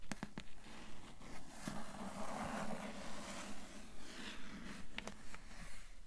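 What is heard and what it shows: Long nails scratch and tap on the grey cloth-covered board cover of a cloth-bound hardcover book. Quick, sharp taps at the start and end bracket a stretch of soft, rasping scratching over a faint, steady low hum near 200 Hz.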